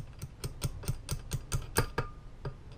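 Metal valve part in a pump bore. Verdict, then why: Seated. During a rebuild of a Meyers E-47 plow pump, a metal valve part dropped skinny side down into the pump bore is tapped into position with ten short, dull clicks, heavy in low thump with little brightness and very quick decay. The final click marks it dropping down, properly seated in the bore.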